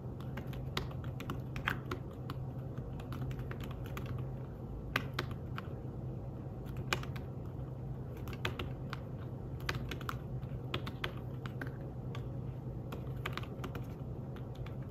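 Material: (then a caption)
Fabric. Fingertips type steadily on the keys of a thin, flat grey fabric-covered folio keyboard for a tablet. The clip is a continuous run of soft, quick, muted taps with brief bright clicks, over a steady low hum.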